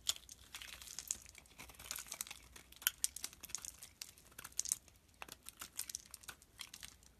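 A utility knife blade shaves chunky flakes off a solid green soap bar held in the hand. It makes a dense run of short, crisp, bright scraping and crinkling ticks with almost no low end. The cuts are quiet and dry.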